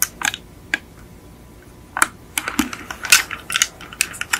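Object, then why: Small die-cast metal toy car. Long acrylic nails tap a small yellow die-cast Beetle model car with a hollow painted metal body, resting on a fluffy mat. Irregular bursts of short, bright clicking taps come with very little low end, a slight tinny ring around 2.7 kHz, and quick decay. Sparse taps at first give way to denser, quicker clusters toward the end.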